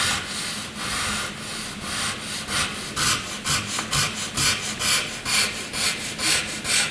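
A graphite pencil tip scratches across a flat white sheet of drawing paper, drawing lines and scribbles. The sound is a bright, dry rasp, first as a soft continuous scratching, then as a steady rhythm of distinct back-and-forth strokes at about two per second.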